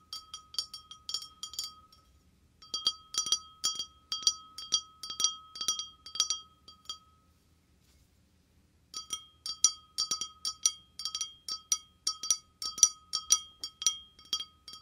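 An empty, clear, hollow wine glass is tapped quickly with fingernails and fingertips, producing rapid, bright clinks with a faint ringing tone near 1.2 kHz beneath them. The taps come in three bursts separated by short silences, each clink dying away almost at once.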